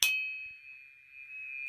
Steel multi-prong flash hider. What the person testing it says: it's not a real loud ping it does resonate and a lot of multi-prong flash hiders will do that because they act like a tuning fork